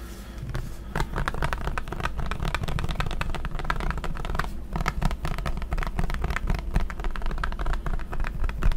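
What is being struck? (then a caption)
Plastic pump bottle of hand sanitizer. A clear plastic pump bottle of hand sanitizer, partly full, is held in front and tapped and scratched with fingertips and nails. Rapid, irregular dry taps and scratchy clicks run continuously over a steady low rumble. Each tap dies away almost instantly.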